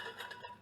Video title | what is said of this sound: Fisica2 clase 13 11 parte 2 experimentos | Como escuchan ahí, tiene las cucharas adentro